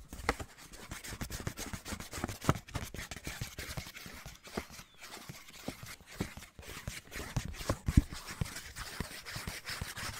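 A small pink lined paper index card pad is held in both hands and tapped rapidly with fingertips and nails. It makes a steady run of short, dull, low-heavy taps with a few louder ones, each dying away almost at once.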